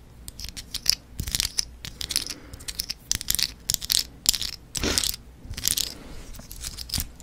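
A fist-sized fake green succulent rosette, likely plastic, is held close to the mic while long nails scratch across its leaves. Quick, crisp scratches and clicks come in uneven bursts, almost all bright and high with little low end, broken by a few longer rasping strokes.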